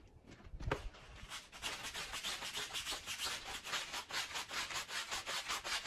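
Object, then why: Woven wool-type pile rug scrubbed with a push broom. A green push broom is brushed back and forth across a wet, soapy, fringed Persian woven pile rug of wool-type textile. After a brief low thump near the start, steady rhythmic scrubbing strokes follow, with a bright, bristly swish of about two and a half strokes per second.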